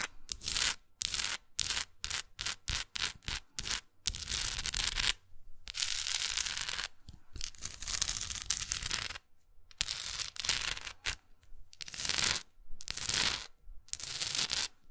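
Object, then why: Wooden block plaque with paper face. Long nails tap and scratch across the printed paper face and rough textured edges of a solid wooden art block plaque with the word "Still" on it. A run of quick, dry, bright taps gives way to longer hissing scratch strokes, with sharp taps mixed between them.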